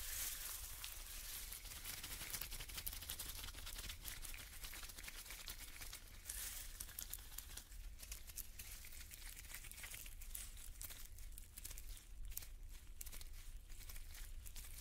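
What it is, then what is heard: Plastic foil tinsel, crinkling. A handful of thin, light, loose iridescent metallic-plastic tinsel shreds is crumpled, rubbed and shaken by black-gloved hands close to the microphone. A continuous bright crinkling and rustling runs for the full 15 seconds at a fairly even level over a steady low hum.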